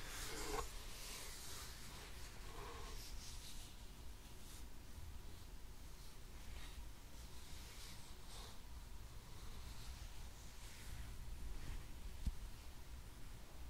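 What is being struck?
Nothing is struck.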